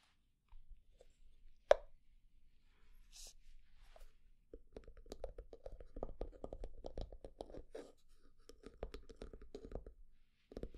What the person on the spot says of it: slow and medium tapping, scratching, lid sounds